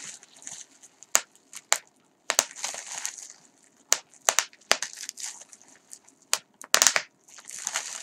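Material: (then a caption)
Plastic. A gathered piece of clear plastic bubble wrap is pinched and twisted between fingers and fingertips over a larger sheet below, popping its air-filled bubbles. Sharp, bright pops burst out at irregular intervals between stretches of high, crackly crinkling of the plastic sheet.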